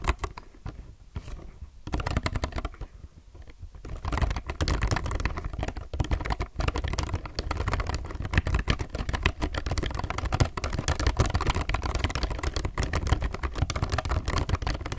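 A low-profile mechanical keyboard with plastic keycaps is typed on with the fingertips of both hands. Sparse, quieter clicks in the first few seconds give way from about four seconds to a dense, steady run of short, sharp key clacks with a low thock and little ring.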